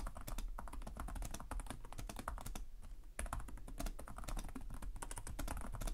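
Both hands type with their fingertips on the plastic chiclet keys of a black laptop with a hollow chassis, making rapid, closely spaced taps. The clicks have a low thump underneath and bright tops, with a brief lull near the middle before the typing resumes at full pace.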